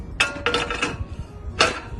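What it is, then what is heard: Porcelain tile, high ringing knock. A porcelain tile is knocked several times, giving short, high-pitched pings that ring around 1.3 kHz and fade quickly. The bright ping, unlike the dull thud of a ceramic tile, identifies it as porcelain.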